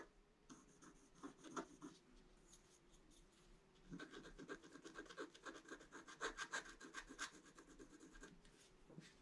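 A pointed wooden stick scratches a flat scratch-art page, a black coating over colored paper, in short, dry, irregular strokes. The rasping scratches sound bright and papery, sparse in the first few seconds and then denser and louder from about four seconds on.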